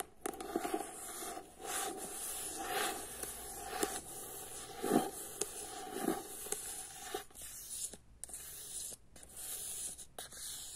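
Long fingernails scratch and tap the cover of a paperback book held close up, making a steady, bright, dry scraping rasp. Occasional sharp taps cut through the rasp, and brief pauses separate the strokes.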